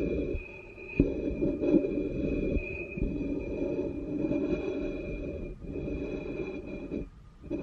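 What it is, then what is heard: Ceramic bowl base scraped and tapped. The bowl of a wooden spoon scrapes and taps the base of an upside-down black ceramic bowl with an unglazed foot ring. A continuous gritty, low-mid rasp is broken by a few sharp taps and short pauses, with a faint steady tone ringing above.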